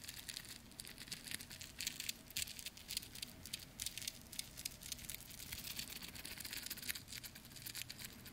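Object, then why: Steel watch on a metal link bracelet. A small stainless steel watch on a metal link bracelet is dangled and shaken so the links jingle, then handled with the fingers. The result is quiet, bright, rapid metallic clinking and rattling that dies away almost instantly, with a soft low rumble underneath.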